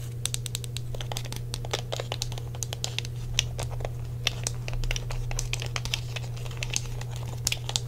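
Fingertips tap the shell and D-pad buttons of a hollow grey plastic Sony PlayStation controller. The result is a quick, irregular run of short, bright clicks with almost no ring, over a steady low hum.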